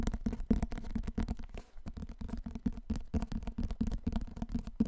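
Fingertips and nails tap and scratch the cardboard cover of a large, solid, dark hardcover book held in both hands. A rapid run of short, dry taps has a low, hollow thump, broken by a brief soft scratching stretch in the middle.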